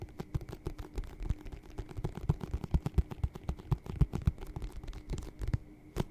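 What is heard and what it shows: A hollow, empty white leather lace-up boot with a yellow-stitched rubber sole is held sideways and tapped and scratched with fingertips and nails on its leather side panel. The result is a quick, irregular run of dull, low thumps mixed with soft scratching, with very short decay between hits.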